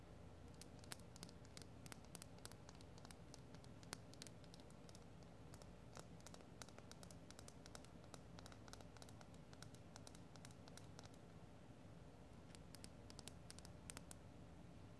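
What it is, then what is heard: Rose quartz crystal. Long gold-painted nails tap and scratch a small, solid, pale pink rose quartz chunk held in both hands. Quiet, dry, sharp clicks and ticks scatter unevenly over a steady low rustling bed, each hit dying away almost instantly.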